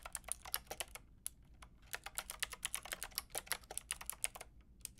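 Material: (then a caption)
Plastic. Long painted nails and fingertips tap the round plastic keycaps of a white-pink backlit mechanical keyboard in quick, uneven runs of typing, with a brief lull in the middle of the clip. Each keystroke is a short, dry, bright plastic click that dies away almost instantly over a faint low background hum.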